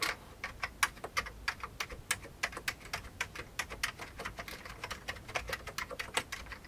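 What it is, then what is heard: Plastic computer keyboard being typed on. Both hands type with their fingertips on an old beige plastic computer keyboard. About 37 quick, bright plastic key clicks sound in an uneven, steady typing rhythm, each dying away almost instantly with very little low end.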